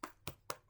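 A freshly baked loaf of bread, just out of the oven and checked about five minutes before the timer, is tapped four times on the bottom, giving short, dull, hollow knocks. The hollow sound shows the bread is baked through and done.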